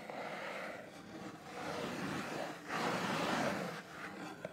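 Fingertips and nails tap and scratch the top face of a sealed, medium-sized, hollow printed cardboard LEGO box lying flat on a black mat. A steady, dry scratching rustle fills the clip, swelling louder in the middle and ending with a sharp tap.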